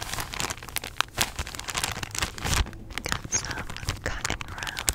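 Long nails squeeze, tap and scratch a clear, thin plastic package holding a stack of cotton rounds. The result is a steady stream of crinkling and crackling with bright, sharp transients and a few louder snaps. Beneath it runs a soft low rumble.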